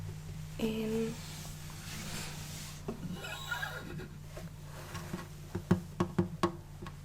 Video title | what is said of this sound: ASMR-Musical instruments tapping | It's my guitar.